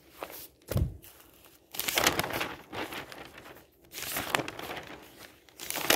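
Fingertips and a flat hand lift, turn and smooth the pages of a large, thin, flexible newsprint newspaper lying open on a table, some of its pages colourful insert sections. Bursts of bright crinkling and rustling rise and fall between quieter handling, with a brief low thump near the start.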